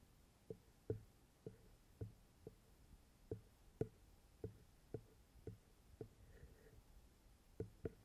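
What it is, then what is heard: Metal microphone capsules tapped. Fingertips with long red-painted nails tap and knock on the small hollow metal XY microphone capsules of a handheld recorder. Fourteen short, dry knocks come at an uneven pace, each a soft low thud with a hollow midrange tone near 440 Hz that dies away almost at once. They sit over a quiet, faint background hiss.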